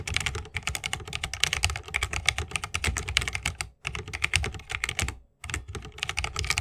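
Fingertips of both hands type fast on a 60% mechanical keyboard with plastic keycaps on tactile switches, set in a solid bamboo wooden case with RGB lighting and resting on a wrist rest. Dense, sharp, bright clicks with a low thock beneath run in rapid bursts, broken by two brief pauses.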